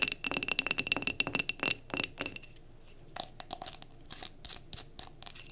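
Long nails tap and scratch quickly on a tilted glass mason jar candle filled with solid wax. The clicks are sharp, bright and irregular, with a faint ringing tone near 2.7 kHz in the first half. After a short pause near the middle, a second burst of taps follows.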